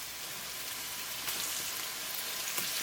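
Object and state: Nothing is struck.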